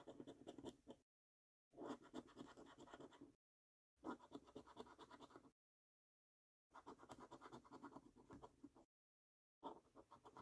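A coin scratches the latex coating off the prize circles of a thin paper lottery scratch card. Five bursts of quick, dry, raspy scraping are separated by short silences.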